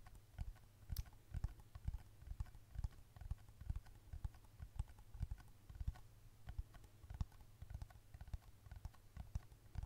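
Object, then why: Plastic smartphone case tapped with long nails. Long red acrylic nails tap rapidly on the back of a glossy black plastic case on a thin, flat black smartphone held beside the microphone. The taps are short, dull thumps with little ring, mostly low in tone with faint brighter clicks, coming in a quick, uneven stream over a quiet background.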